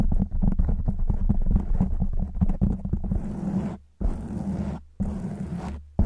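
Long white nails scratch a black foam windscreen on a silver microphone, producing a deep, muffled rumbling scrape concentrated in the low end. Quick, uneven scratches run for about three seconds, then give way to longer, smoother strokes broken by brief silences.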